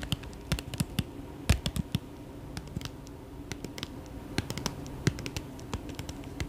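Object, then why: Small foil plastic pouch. A small, flat, resealable holographic mylar foil pouch, apparently empty, is held up close and tapped and crinkled with fingertips and short nails. Quick, dry clicks and taps sound in rapid, irregular bursts, each fading almost instantly, over a faint, steady low hum.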